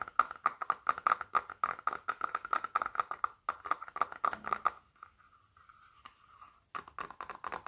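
Fingertips tap quickly on the back and edges of a small, solid black smartphone held horizontally in both hands, producing a fast run of crisp, dry clicks centered around 1.2 kHz. Near the five-second mark, the tapping gives way to a quieter, softer scratching. Brisk tapping then resumes at the end.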